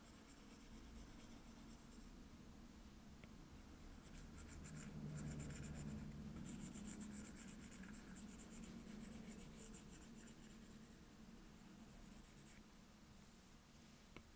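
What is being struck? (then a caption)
Glass tablet touchscreen with plastic stylus tip. A plastic Apple Pencil tip fills in color with quick, repeated strokes on the glass touchscreen of an iPad resting on a desk. It makes a steady scratching, rubbing sound with light taps, and bright high hiss bursts over a low hum. The sound swells in the middle and then softens, ending with a small tap.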